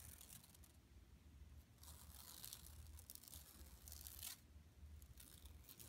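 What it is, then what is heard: Woven plastic mesh bag scratched with nails. Long nails on both hands scratch the printed surface of a flat, empty yellow woven plastic mesh tote bag lying on carpet. The result is a quiet, dry, bright scratching hiss with a tearing texture, swelling into louder bursts around two to three seconds and again near four seconds, over a steady low rumble.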